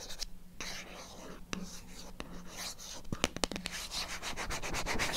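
Long acrylic nails tap and scratch on a small, hollow, white printed cardboard MyGel product box held in the hand. Dry, broadband scratching and rubbing is broken by sharp, brief clicking taps with almost no ring, over a faint steady low hum.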